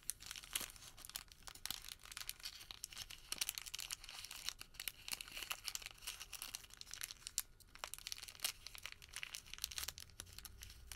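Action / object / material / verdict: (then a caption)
scrape / thermal paper receipt / paper / none. A crumpled wad of white thermal paper receipt is squeezed and rubbed between fingertips. It makes a dense, quiet, continuous crinkling and crackling that is bright and high with very little low end. The crisp rustle lasts about eleven seconds.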